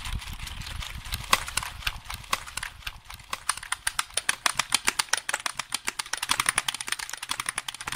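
A hollow black plastic computer keyboard is held near the microphone while fingertips tap its keys rapidly. Dozens of sharp, bright clicks come in a quick, uneven stream over a soft low rumble at the start.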